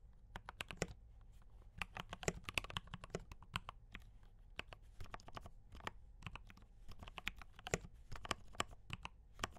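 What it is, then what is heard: Mechanical keyboard with plastic keycaps. Fingertips type on a D84 mechanical keyboard with brown switches and cream and red plastic keycaps, producing quick, sharp, bright clacks in uneven bursts. Each keystroke dies away almost instantly over a steady low hum.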